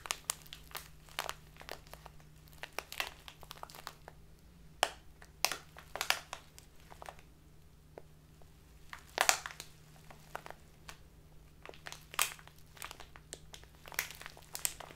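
A tall, narrow, clear plastic bag full of loose tea is crushed and crinkled between both hands with long nails. Dense, bright crackles and crunches come in irregular bursts with brief quieter gaps, over a faint steady low hum.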